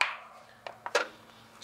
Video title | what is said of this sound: Dashi : Le Secret Mystique de la Cuisine Japonaise - SLICE PEUPLES - DOC COMPLET | devra encore sécher un mois, au moins un mois, je dirais, au son qu'il fait